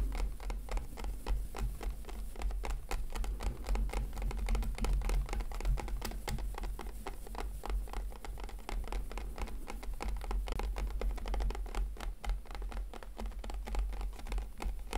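Fingertips and nails tap and scratch a hollow, hand-sized clear plastic blister pack holding a FIMO product. Quick, irregular, crisp taps and light scratches run steadily throughout, with a low, hollow body under each tap.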